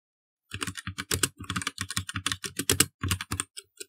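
A black plastic mechanical computer keyboard is typed on fast with the fingertips of both hands, producing a dense run of about two dozen crisp key presses over nearly four seconds. Each press is a short, bright clack with a low thock underneath, dying away almost instantly.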